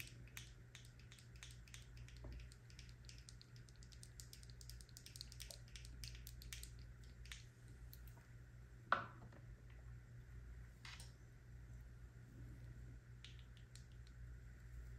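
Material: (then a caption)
Plastic. A small white plastic Kiehl's eye cream jar with a screw lid is held in the hand while long nails tap and scratch its lid and sides. Quick, quiet, dry clicks and scrapes patter over a steady low hum. One sharper tap stands out near the middle.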